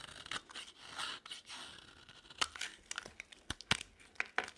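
A utility knife blade repeatedly carves and scrapes a solid green bar of dry soap held in the hand, making shavings. Soft, breathy scraping strokes give way to a series of sharp, bright crackling cuts with almost no ring, mostly high in pitch with very little low end.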